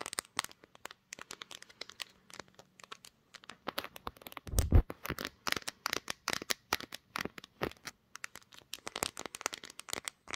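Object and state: Glass-backed smartphone tapped with nails.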